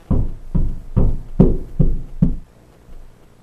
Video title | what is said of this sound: The Secret to a PERFECT Closet Shelf Install Revealed | that's my first solid sound. And that means there's a stud right here